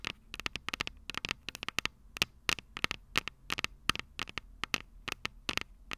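Long purple nails tap the small, hollow, silver metal microphone capsules of a Tascam DR-05 recorder in quick, irregular bursts, about 29 taps in six seconds. Each tap is a sharp, bright, dry click that dies away almost at once, with a faint low hum underneath.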